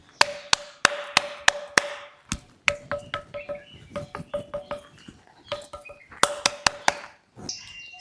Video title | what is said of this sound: సొంపాల్యం Chennakesava Temple Mystery 😳 - అసలు రహస్యం ఏంటి? - Telugu Vlogs - @Nandini_yallareddy | ఒక్కొక్క పిల్లర్ని కొడితే ఒక్కొక్క శబ్దం వస్తుంది.